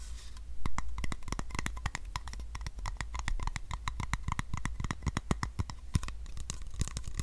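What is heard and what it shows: Fingernails scratch and tap the colorful paper label and body of a capped, hollow white plastic supplement bottle as it is turned in the hands. The result is a rapid, uneven stream of sharp, dry clicks and scratchy ticks over a steady low hum.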